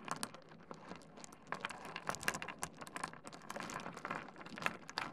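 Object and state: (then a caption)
Small stone pebbles clattering on a wooden desk. A pile of small solid stone pebbles on a wooden desk is cupped, grabbed and rubbed together by hands, then dropped. The result is a dense run of short, dry clicks and rattles with bright, high-reaching ticks over a soft grinding texture that never quite stops.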